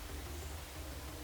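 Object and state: Nothing is struck.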